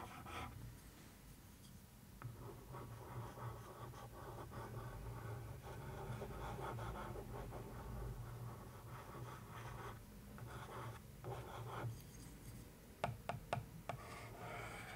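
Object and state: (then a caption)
Paper-covered cardboard box lid. A thin wooden stick held in the fingers traces and scratches over the printed surface of a newspaper-print covered box lid, likely hollow cardboard. The sound is a quiet, continuous papery scratching and rubbing with a low, dull body, ending in five sharp, brief taps near the close.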